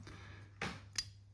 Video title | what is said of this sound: Ping sound ST Dupont lighters #classicluxury #lighter #dupont #vintagelighters | As you can hear, no ping sound at all.